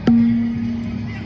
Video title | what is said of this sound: เทคนิค เช็ดจุดดีดี ง่าย #softball #booo #no1 | เสียงมันจะเหมือนระฆัง